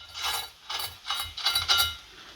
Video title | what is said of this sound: Chicken Kiev | as you can hear here how crispy that chicken is